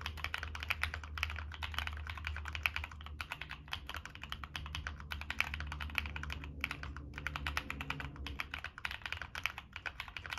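Fingertips type steadily on a Monsgeek M1 mechanical keyboard with NK Cream switches, a dark metal case and purple and black plastic keycaps. It produces a fast, continuous stream of short, bright clacks with a faint steady low hum beneath. There are only brief pauses in the typing.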